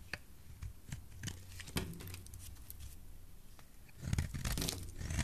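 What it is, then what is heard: Soap bar being shaved. A utility knife blade shaves a solid white soap bar held in the hand, making short, dry tearing and crunching strokes over a low, soft rumble. Quick scraping cuts come one after another, then a denser, brighter burst of shaving follows near the end.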